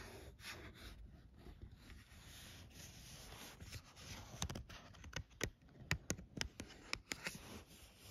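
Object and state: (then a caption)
Paper greeting card with rhinestones. Long painted nails scratch across a small, flat cardstock Christmas card held in hand, decorated with doves, "Noel" ornaments and glued rhinestone gems, giving a steady soft scraping rustle for the first few seconds. The nails then tap the card's printed surface and embellishments in a series of sharp, bright, dry clicks that stop almost instantly.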